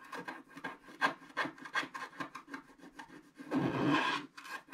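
A wooden stylus scratches a solid black wax-coated scratch art card lying flat, working near its lower right. A quick, irregular series of short, dry rasping strokes is followed by a longer, louder continuous scrape near the end.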